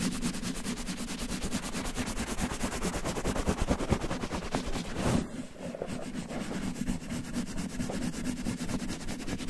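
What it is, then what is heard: Cotton terry towel rubbed over a microphone. Fingertips scratch and pinch-rub a red cotton terry towel laid over a microphone. The result is a dense, steady, rhythmic scratching hiss with a low, muffled rumble underneath. It briefly drops quieter about halfway through, then carries on.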